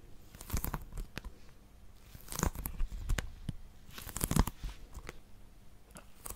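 Long nails grip and scratch a small, hollow plastic Nintendo Switch game case with a colorful cover. The result is a run of quiet, crinkly scratches and sharp clicks with bright edges, swelling into denser crackling bursts around the middle and near the end.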